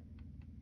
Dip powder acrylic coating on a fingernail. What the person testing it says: you can tell when everything's activated because when you tap it sounds hard